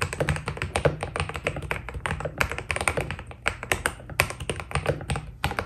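Fingertips type steadily on a white Keydous NJ80 mechanical keyboard with PBT plastic keycaps, producing a rapid, uneven stream of short, dry key taps. Each click is crisp and bright, dies away almost instantly, and sits over a faint, steady low hum.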